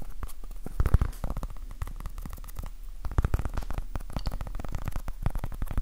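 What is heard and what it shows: Fingertips and nails tap and scratch quickly on a small, soft, solid orange foam stress ball patterned like a basketball. The result is a dense, continuous stream of short, dull, low thuds mixed with faint scratchy rustling. Nothing rings after each touch.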